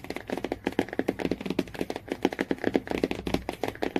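Fingernails tap rapidly on the laminated cardboard cover and yellow spine area of a hardcover Jungle Book. The taps are dry, short and hollow-sounding, centered in the low-mids with almost no ring. They come in a quick, uneven stream for the whole clip.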